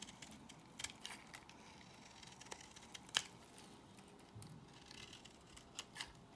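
A solid white bar of soap, held in the hand, is scraped with a box cutter blade. The result is a quiet series of short, bright scraping ticks and crisp shaving sounds, with one sharper crack partway through.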